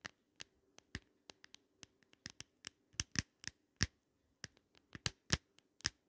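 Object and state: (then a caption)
Glass compact mirror, tapped and scratched with nails. Long nails scratch and tap in circles on the round glass mirror of an open pink glitter plastic compact. A quiet run of about eighteen short, dry clicks and scrapes is heard, each bright and crisp with almost no ring, irregularly spaced over a faint low hum.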